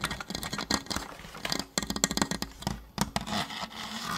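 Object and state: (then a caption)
Plastic toy blaster. Fingertips quickly tap along the body and barrel of a hollow orange and blue plastic Nerf toy blaster. About sixteen short, dry, hollow taps sound in quick, uneven bursts. Each tap has a bright clicky edge and dies away almost instantly.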